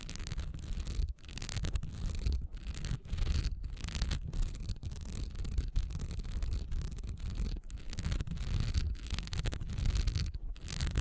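Long nails scratch quickly across a solid wax pillar candle with a honeycomb, diamond-textured surface, lying on its side on a dark towel. The result is a dense, continuous rasping scratch, heavy in low-end rumble, broken by brief pauses between strokes.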